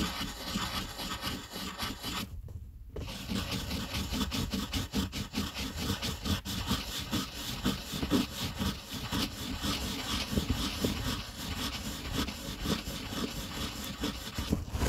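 A blue wooden colored pencil shades the letter C on a flat, thin white paper coloring page resting on a table, its tip rubbing and scratching back and forth. The strokes make a steady, dry scratchy rasp with a bright hiss over a soft low rumble, repeating at roughly two strokes per second in a loose rhythm. There is a brief pause just after the two-second mark before the shading resumes.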